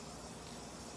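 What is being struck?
Nothing is struck.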